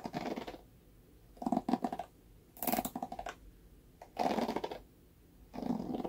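Fingernails scratch and flick the dense black bristles of a red plastic paddle hairbrush, making dry, crackly scratching in five separate bursts with quiet pauses between. The sound is mostly low-mid rustle with brief bright flicks.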